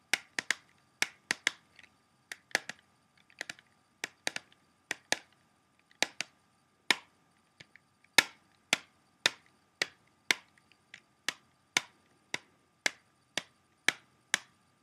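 Fingertips and short nails tap the front cover of a small, hollow, closed clear plastic CD jewel case for Blondie's *Eat To The Beat*, held in both hands. About thirty crisp, bright clicks sound in an uneven rhythm, each dying away almost instantly with no low-end body.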